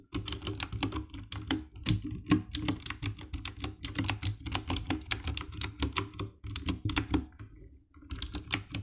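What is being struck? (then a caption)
Plastic mechanical keyboard. A compact 60% black plastic mechanical keyboard with an RGB backlight is typed on with fingertips, producing quick bursts of crisp, clacky key presses with bright clicks and a thumpy low body. The hands drop to the lower edge of the keyboard near the end, after a brief pause, and the tapping resumes.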